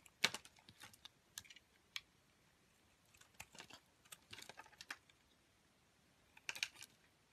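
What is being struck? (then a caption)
Soap bar scraped with a metal blade. A metal box-cutter blade repeatedly scrapes and shaves curls from the surface of a solid pink Palmolive soap bar held in the hand. Quiet, crisp, bright scraping ticks come in irregular bursts, each dying away almost instantly, with silent pauses between.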